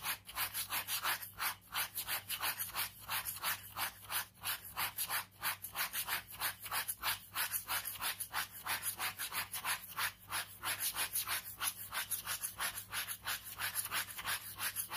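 A ballpoint pen scratches fast hatching strokes across a page of a large white paper sketchbook resting on fabric. Quick, steady back-and-forth scratches of about three strokes per second give a dry, bright, hissy rasp. A faint low hum sits underneath.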